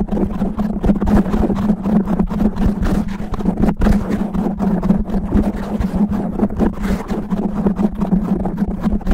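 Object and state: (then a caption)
Foam microphone windscreen being scratched. Both hands scratch fast and rough with natural medium-length nails over a soft, fist-sized black foam windscreen covering a microphone head. The result is a dense, continuous crackling rustle with heavy low rumble and a steady hum around 200 Hz, with little high-end content.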